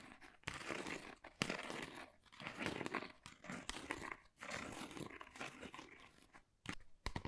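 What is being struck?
Textured cardboard folder.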